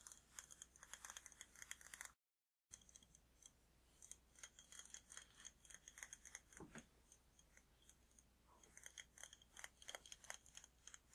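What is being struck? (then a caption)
Glass jar candle with glass lid. A large glass jar candle filled with red wax and topped with a glass lid is held in both hands and tapped on the glass with fingertips and nails. Quick, bright, clicky taps come in dense irregular bursts with very short ring, over a faint low hum. There is a brief silent gap near the two-second mark.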